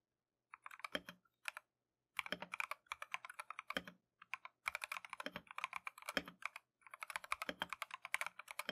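A compact Keychron V1 mechanical keyboard with Tangerine switches and green and white plastic Matcha keycaps is typed on continuously with gloved fingertips. Quick, bright, clacky keystrokes come in rapid bursts separated by brief pauses, each stroke snapping off almost instantly.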